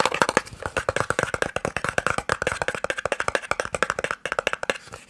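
A small, hollow, white and red cardboard eye drops box is tapped quickly with the nails and fingertips. A fast, steady run of 31 short, dry, hollow clicks rings with a papery tone around 500 Hz and brighter edges, each dying away almost instantly.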